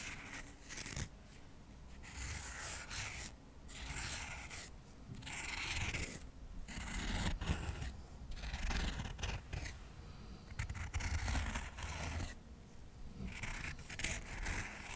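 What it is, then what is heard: Cork coaster stack scratched. Cotton swabs are rapidly scratched across the surface of a solid stack of square cork coasters held just above the microphone. The result is a steady run of dry, bright, papery scratching that comes in bursts, with short pauses between them, over a low rumbling undertone.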